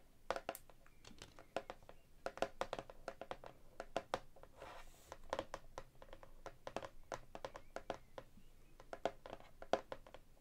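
Long nails tap rapidly on the glossy laminated cardboard cover and edges of a large hardcover cookbook held upright. The quiet, crisp clicking has a midrange knock that dies away almost at once, with a brief soft rustle around the middle of the clip.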